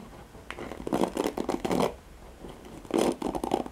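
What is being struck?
Plastic hairbrush with nylon bristles.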